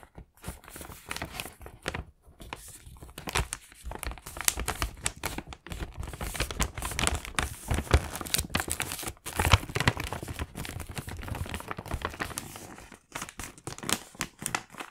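A medium mint Moomin-print paper gift bag filled with candy packs is handled as fingertips double-fold its top edge and press along the crease, rubbing the paper. Dense, continuous crinkling and crackling fill the clip, with sharp bursts of rustle spread across both low and bright tones and brief near-silent pauses between folds.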